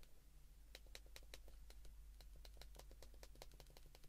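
Fast thumb presses on the number keys of an open white plastic flip phone held in both hands make a rapid series of short, dry plastic clicks. Each click has a bright top and a slight tone just above 500 Hz, over a steady low hum.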